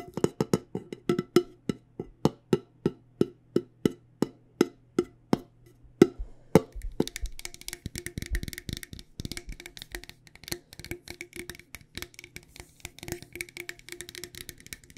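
A medium, decorated, hollow cylindrical metal loose tea tin is tapped with long nails on its lid and sides. The first six seconds bring steady, evenly spaced taps, each a short hollow knock with a brief low tone. After that the tapping turns into a quick, dense patter of lighter, brighter clicks and ticks.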